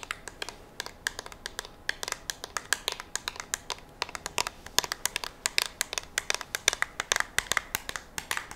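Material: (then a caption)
Polymer. Long nails rapidly tap and scratch a curved, hand-sized black polymer rifle magazine with a ribbed surface, likely empty, held in the hands. The result is a quick run of sharp, bright clicks and scratchy ticks with almost no low end and no ring.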